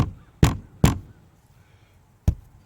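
Four knocks on a fiberglass camper side wall give low, dull, hollow thuds that die away almost at once, two close together and two more after a pause. The wall is not solid at this spot, a sign of delamination.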